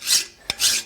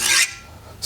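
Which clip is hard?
The second.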